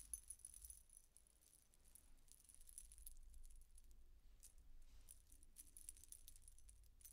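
A silver-coloured metal coin-disc statement necklace with chains is lifted from a table by its chain, held up and shaken by hand. Its thin metal discs jingle and clink against each other in quiet, bright, irregular rattles over a steady low hum. The jingling has short, high-pitched clicks that fade quickly.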